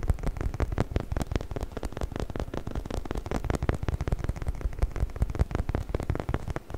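A hollow, orange, bumpy rubber chicken toy is held in both hands and scratched with fingernails along its textured surface. The result is a steady stream of rapid, dry scratching and tapping clicks, with each short stroke carrying a soft, low thump. The sound is mostly deep and muffled, with little high-end brightness.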